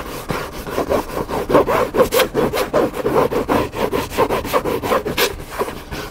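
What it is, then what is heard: Hardcover book scratched. Fingertips and nails scratch across the cover of a hardcover cookbook lying flat on a table. About 18 quick, raspy strokes follow one another at an uneven rhythm, with a dry midrange scrape and occasional bright hissy streaks. Each stroke cuts off almost at once.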